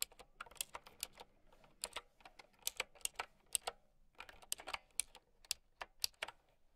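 Someone types with long nails on a plastic mechanical keyboard with round keycaps. The clip is a quick run of bright, sharp, clicky keystrokes that die away almost at once, with short pauses between bursts.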